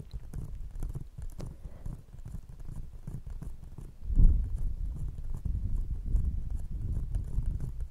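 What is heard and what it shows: An empty brown paper/cardboard coffee cup held over a fluffy microphone is tapped with the long painted nail tips of one hand, while the other cup stays untouched. The result is a rapid, dense patter of muffled, deep, bassy thumps with almost no high end, growing louder from about four seconds in.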